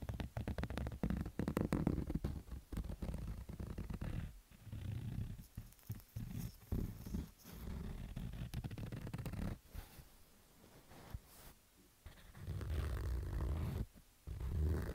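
Fingertips and nails scratch along the edge and side of a black stitched fabric baseball cap. The result is a dense, rough, low-heavy scratching in uneven bursts, broken by brief quiet gaps.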